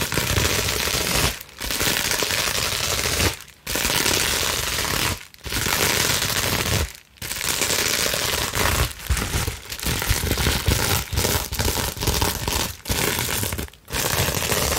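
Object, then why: Plastic bubble wrap sheet. A clear plastic bubble wrap sheet is rolled and scrunched, then scratched with long nails, making dense, fast crinkling and crackling. The sound is bright and steady, with a low rumble underneath. It is broken by several brief silent pauses between bursts.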